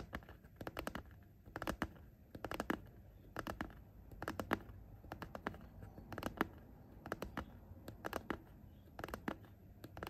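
Short painted fingernails tap and scratch along the top edge near the metal zipper of a soft, hollow pencil case made of printed coated fabric, which lies flat. Quick, dry, clicky taps come in small bursts of three or four, roughly every second, over a quiet, continuous scratchy rustle. Each tap stops almost instantly with no ring, and the overall sound is soft and muffled.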